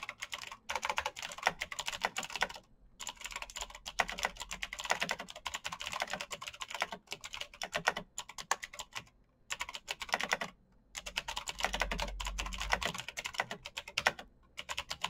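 Fast fingertip typing on a black backlit mechanical keyboard with plastic keycaps and clicky switches. Bursts of rapid, bright, sharply decaying clicks come with brief pauses between runs.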